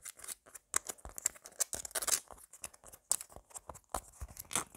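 Long black nails quickly scratch and tap a palm-sized, solid, red tomato-shaped squishy toy of soft foam with a green stem. The result is a rapid run of dry, bright, scratchy rasps and short taps with almost no low end. Each one stops dead without ringing.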